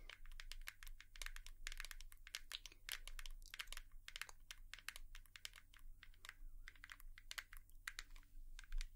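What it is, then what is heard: Hairbrush tapped with fingernails. A hairbrush is tapped with long nails in quick, irregular bursts of sharp, bright clicks that die away almost instantly. A steady low hum runs underneath the whole time.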